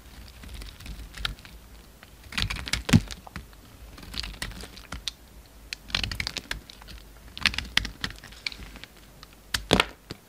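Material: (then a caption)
Soap. A utility knife blade shaves and scrapes a solid cream bar of soap carved to a narrow shape, producing crisp, dry crackling and crunching scrapes. The bright strokes come in short bursts, the loudest near the three-second mark and again near the end, over a faint low steady hum.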